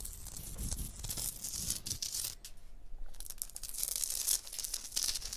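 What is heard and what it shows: A long blue nail scratches across a limestone block wall and traces along the mortar joint between the blocks. It makes a continuous gritty, bright scraping with soft low rumbles early on, a brief quieter dip near the middle, then harsher bright scratches toward the end.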